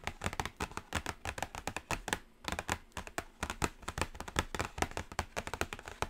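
Long acrylic nails tap rapidly and continuously on the lid of a flat, closed black cardboard Carnival eyeshadow palette. The taps are sharp, dry clicks that stop instantly with no ring, pausing briefly just past the two-second mark before resuming.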